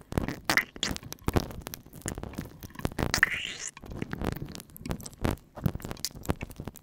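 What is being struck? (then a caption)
Silicone ear model. Bare fingertips rub and press into the outer ear and canal of a life-size, solid, soft silicone ear model coated with oil, massaging rather than tapping, with the microphone likely inside the ear. Close, wet squelching and sliding scrapes come in quick bursts with low rumbling presses and bright slick crackles, and a brief rising swish sounds near the middle.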